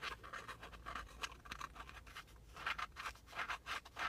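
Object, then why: Small flat cardboard air freshener. A small, flat, shield-shaped printed cardboard car air freshener, thin and solid, is held in the hand and scratched with fingernails. A rapid series of quiet, dry scratching strokes follows, each a short, bright rasp centered around 1.3 kHz with almost no low end.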